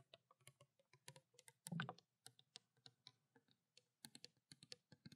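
Long black nails rapidly tap the body and blue cap of a small clear plastic water bottle that contains water. About 27 soft, quick taps are heard, each a dry click with a hollow low thump and a bright tick, with a louder, denser flurry near the two-second mark. The overall sound is quiet and tightly damped, with almost no ring after each tap.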